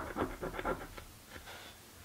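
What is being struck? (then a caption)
Paper scratch-off ticket scraped with a coin. A small coin scrapes the latex coating off a thin paper or card crossword-type scratch-off lottery ticket lying flat on a dark table, held down by one hand. Quick, dry, raspy scratching strokes come in a rapid rhythmic burst, then thin out into lighter, quieter scrapes.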